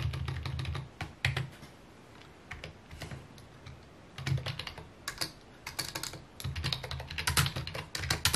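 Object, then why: Plastic computer keyboard. Fingertips type on a full-size white and mint plastic computer keyboard with a hollow housing, resting on a wooden desk. Bursts of quick clicky key taps carry a hollow low thump beneath bright, sharp clicks. The typing drops to a quiet pause in the middle before picking up again in fast runs.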